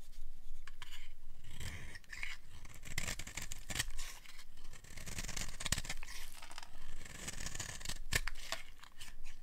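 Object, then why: Bar of soap scraped with a metal blade. A metal blade scrapes shavings off the edge of a solid, hand-sized peach bar of dry soap. Repeated dry, crisp scraping strokes with bright, papery edges run continuously over a low rumble.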